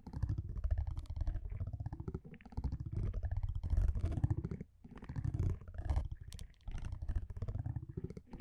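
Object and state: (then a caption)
Cardboard trading card scratched with a metal tool. A metal tweezer-like tool scratches across the surface of a thin cardboard baseball card with an orange printed back, held in one hand. The scraping comes as dense, rapid, low rumbling bursts with faint brighter ticks on top, broken by short pauses between strokes.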